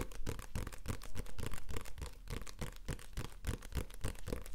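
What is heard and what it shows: A small, solid paperback comic book with a glossy card cover is held in the hand and tapped rapidly with the fingertips. The taps come as a quick, uneven patter of soft, dull thuds, heavy in the low end with very little brightness. Each tap dies away almost at once.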